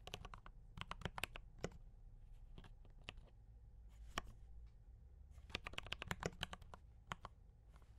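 Fingertips type on a mechanical keyboard with D84 brown switches and cream and red plastic keycaps. Short, sharp, bright clacks come in irregular bursts with brief pauses over a low background hum. Each keystroke dies away almost instantly.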